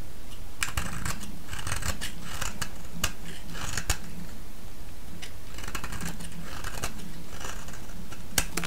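A solid orange bar of soap held in the hand is shaved with a metal blade, producing a run of crisp, bright scraping strokes in quick succession. Each stroke rings briefly over a steady low hum that continues throughout.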